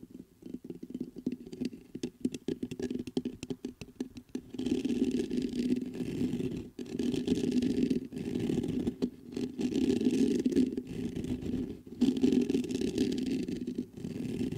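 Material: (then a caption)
Metal. Fingertips tap the body of a black metal USB microphone and scratch its mesh grille, close up. The first few seconds are rapid, uneven taps that give way to longer, dense scratching bursts separated by brief pauses. The sound is a rough, hissy texture centered on a warm low-mid band around 250 Hz.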